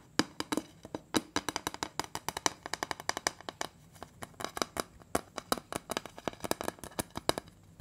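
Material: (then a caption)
Sheet metal. Fingertips and nails tap on the printed metal lid of a large, round, closed butter cookie tin, making about 44 quick, dry taps in an uneven rhythm. Each tap is a short, bright click with a mid-pitched ring around 900 Hz that dies away almost at once, with little low end.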